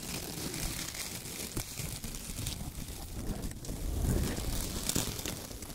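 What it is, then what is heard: Shredded kraft paper. Bare fingertips grab, squeeze and crumple a pile of thin, dry, light brown shredded kraft paper strips on a white table, with a rubber duck sitting untouched in the pile. The result is a continuous dense crackling and crinkling with a bright, hissy top and a soft low rustle underneath, swelling slightly louder toward the end.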